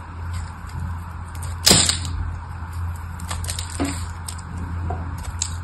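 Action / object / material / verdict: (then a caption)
scrape / bar of soap / soap / none. A palm-sized red solid soap bar with a crackled surface is held in hand while flakes are scraped and cut off it with a craft knife blade. Soft, bright scraping crackles run throughout over a steady low hum, with one loud, sharp crunching crack near the start and a smaller snap later.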